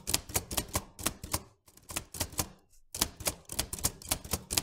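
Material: Metal.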